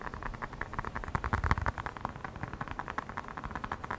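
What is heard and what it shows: A small black hollow rubber air blower bulb with a blue nozzle is tapped and squeezed quickly with the fingertips close to the microphone. It makes a fast, steady run of soft, dull taps and short airy puffs, with a low thump under a muffled midrange tone. Each sound dies away almost at once.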